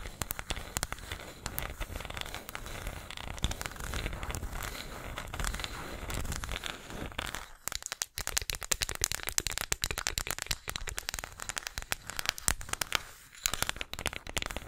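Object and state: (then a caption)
Small wooden disc tapped and scratched with nails. A small, flat, round light-wood disc, possibly bamboo, solid and engraved with text, is held close to the microphone and tapped and scratched with long acrylic nails. Dense, dry crackling clicks and scratchy rustles with bright highs run throughout, growing sharper and more separated after a brief pause midway.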